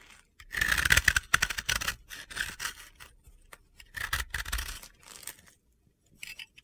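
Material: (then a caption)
Pressed powder. A blue-yellow disc of pressed-powder bath bomb, held in the hand, is shaved with a utility-knife blade, scraping off gritty powder. Short bursts of dry, crunchy scraping come in uneven strokes, bright and hissy with a strong mid-high edge, separated by brief pauses.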